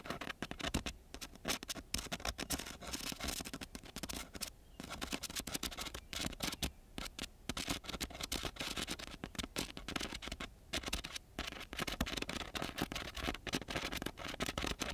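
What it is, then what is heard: Coarse sandpaper scratched with a pen tip. The metal tip of a ballpoint pen scratches and taps across a flat, coarse-grit sandpaper sheet. The result is a dense, continuous run of rough, bright scraping strokes and quick gritty ticks, with a faint low hum underneath.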